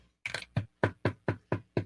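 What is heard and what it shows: Knuckles rap a wooden surface for luck in a quick, even run of about eight knocks. Each is a short, dull, low-pitched thud that dies away almost at once.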